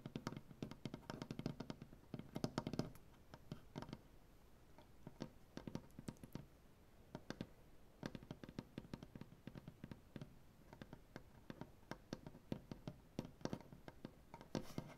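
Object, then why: Wooden butcher-block tabletop. Fast tapping with the dark-painted nails of both hands on a solid light wood butcher-block tabletop makes a quick, dense patter of short, dry clicks with a soft low wooden thump and almost no ring. The taps come in busy flurries at first, grow sparser and quieter in the middle, then build to another quick burst at the end.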